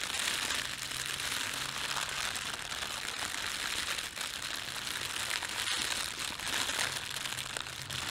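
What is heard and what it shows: A red-and-white printed thin plastic bakery bread bag lying on a table is pinched and crumpled between fingertips and thumbs. The result is a continuous, bright, dense crinkling and crackling that holds steady in level for the whole clip, with a faint low hum underneath.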